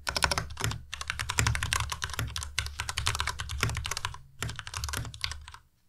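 Fingertips type fast on a white Ducky Miya Pro tenkeyless mechanical keyboard with plastic keycaps, making a dense run of bright, sharp clicks over a steady low hum. The keystrokes pause briefly just after the four-second mark, resume, and fade out near the end.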